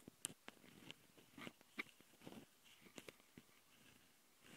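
Long fingernails on both hands scratch the two microphone capsules of a small Tascam handheld recorder, which have metal mesh grilles on a plastic body. The close, quiet sound is a string of dry, bright scratches, crackles and sharp ticks with no ring.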